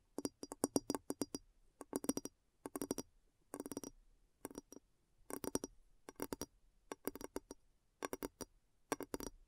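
Long nails tap around the upturned base of a large, clear glass bowl that is hollow, empty and turned upside down. About forty quick, quiet taps come in short bursts separated by brief pauses. Each tap is a short, dry click with a mid tone near 277 Hz and a bright upper tick, and it dies away almost at once.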